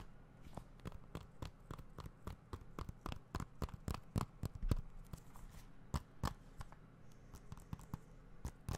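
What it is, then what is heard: Plastic game case. Fingertips tap and scratch a small, hollow blue plastic video game or Blu-ray case held in the hands. About thirty sharp, dry clicks come at an uneven pace, each dying away almost at once, over soft scratching and a low steady hum.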